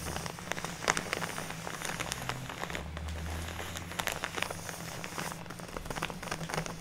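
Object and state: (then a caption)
Plastic bag of fake snow. Long natural nails tap and scratch across a large, filled plastic craft bag of fake snow lying on a wooden table. The result is a steady stream of quick, bright, crinkly clicks and crackles, like rain patter, over a soft low hum.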